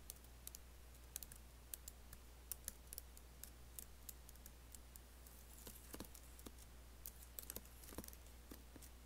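Fingertips lightly type on an Apple laptop keyboard with black plastic keys and an aluminium body, giving quiet, sharp, bright clicks and taps at an irregular pace. A steady low hum runs underneath throughout.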